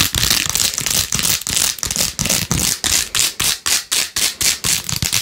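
Long nails scratch fast over the beads of a plastic phone case with pink faux-pearl gems and a rose-gold rim. Bright, rasping scratching comes in quick, uneven strokes that blur together at first, then break into separate short bursts.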